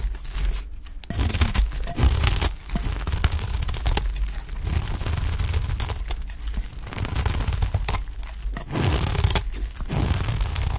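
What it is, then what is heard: Dry olive-oil soap bar. A utility knife scrapes and shaves the edge of a dry, solid green olive-oil soap bar held in the hand. Bursts of dry, crunchy, crackling scraping run almost continuously over a heavy low rumble, with bright crisp shaving texture on top. Brief quiet gaps fall between strokes.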